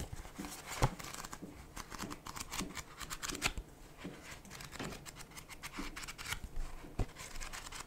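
A solid paperback Goosebumps book with a paper cover and pages is tapped on the cover with fingertips and nails, then its pages are flipped and rubbed. The result is quiet, dry clicks and soft knocks mixed with bright, scratchy papery rustling that stops quickly, with a couple of sharper taps standing out.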